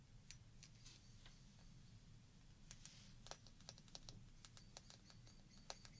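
A small, hollow glass shot glass partly filled with water is held up and rapidly tapped with long painted fingernails. The taps make a quick, irregular run of short, bright clicks that sound like typing, each dying away almost instantly. A steady low rumble sits underneath.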